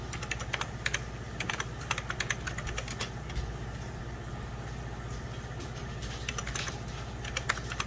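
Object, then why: Plastic computer keyboard. Fingertips and short nails type rapidly on a full-size 90s Packard Bell keyboard, with beige plastic keys over a hollow plastic case. The bright, clicky key taps come in quick, irregular bursts over a steady low hum.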